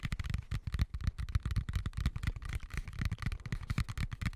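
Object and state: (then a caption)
Plastic colander tapped and scratched. Fingertips and nails tap and scratch a medium white plastic colander with slots, hollow and empty and turned upside down over the mic. A dense run of quick, soft, low hollow thuds comes with bright scratchy crackles. Each tap dies away almost at once.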